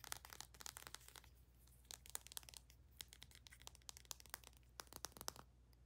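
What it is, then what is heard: Plastic bath soak tube. Long nails quickly tap and scratch along a slim white plastic bath soak tube with a clear cap and printed label, held upright. Many sharp, dry, bright clicks and crinkly scrapes come in fast, uneven bursts, each dying instantly over a faint steady low hum.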